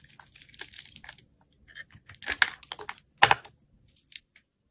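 A solid green-and-yellow striped soap bar is held in the hand while a metal blade shaves pieces off it. Short, dry scraping and carving strokes come in irregular bursts, with two louder, brighter cuts standing out near the middle and end.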